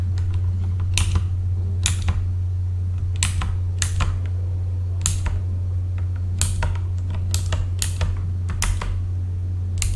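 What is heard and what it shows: Both hands type with their fingertips on a full-size backlit mechanical computer keyboard with plastic keycaps. Bursts of bright, clacky keystrokes land irregularly over a steady low hum that runs the whole time. Each key sound is short and dry, with almost no ring.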